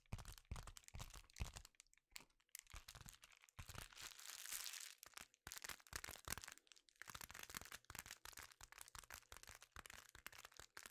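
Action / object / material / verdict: scrape / foil bubble-lined envelope / metallic foil / none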